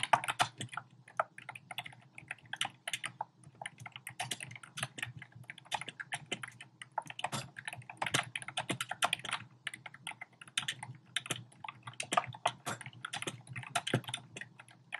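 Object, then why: Plastic keyboard with round plastic keycaps. Fingertips with short painted nails type rapidly on a compact keyboard with a black plastic frame and round pink, orange and cream plastic keycaps, resting on a desk. The quick key taps produce a steady stream of short, bright clacks that die away almost instantly, with a faint low hum underneath.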